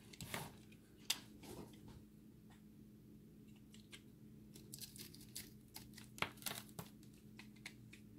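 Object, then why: Recycled soap ball. A utility-knife blade scrapes a dry, solid recycled soap ball with a chip crust and a pink core, producing sharp, bright crunching and crumbling scrapes. The scrapes come in irregular bursts over a quiet, steady low hum, with brief pauses between them.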